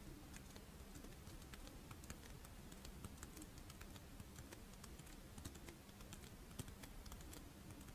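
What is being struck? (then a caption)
Fish-shaped rice wafer shell with chocolate filling. A pink, fish-shaped strawberry monaka, a crisp rice wafer shell with chocolate filling, is held in the hands while long nails tap and scratch its scale-patterned wafer. Quick, bright clicks and light scratches repeat steadily over a low, even background hum.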